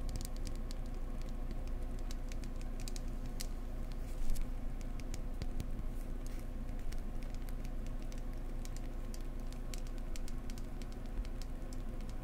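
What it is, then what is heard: Wooden egg. Fingertips tap gently and steadily on a wooden egg, up close, making soft, rapid, quick-fading taps with no talking. A constant low hum runs underneath for the whole clip.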